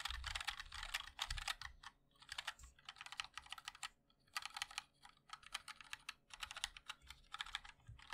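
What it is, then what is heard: Mechanical keyboard being typed on. A 60% mechanical keyboard with a black aluminium case, white and black ABS keycaps and linear switches is typed on continuously by the fingertips of both hands. Bursts of quick, bright, clacky keystrokes come with a low thock underneath and short pauses between runs. Each tap dies away almost immediately.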